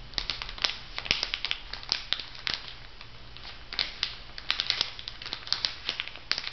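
Fingernails scratch and rub the plastic film sealed over a packet of two foam makeup sponges on a paper card. A close, steady run of bright, dry crinkles and sharp ticks fills the clip. A faint low hum sits underneath.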